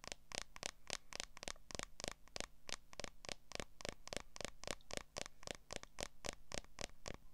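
Long nails tap and scratch on the back of a smartphone in a solid, transparent plastic case. About thirty quick, sharp clicks come at an uneven, rapid pace, each dry and bright with almost no ring, and soft scratching in between.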